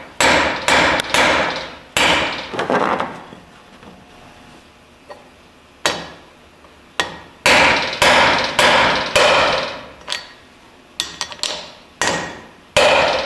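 A steel pinion bearing race is driven into a differential housing with a universal driver tool and hammer, producing a series of sharp, solid metallic strikes in irregular bursts with a short, bright ring and pauses between groups. The solid sound indicates the race is fully seated, which is normal.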